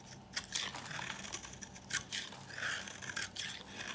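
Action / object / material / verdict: scrape / bar soap scraped with a metal knife / soap / none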